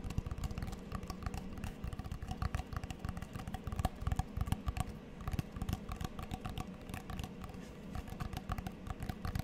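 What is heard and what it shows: A small, flat, square cork coaster with a checkered plastic frame is tapped rapidly with long fingernails close to the mic. The result is a dense stream of short, dry clicks over a low, steady rumble, with bright edges on the taps and almost no ring.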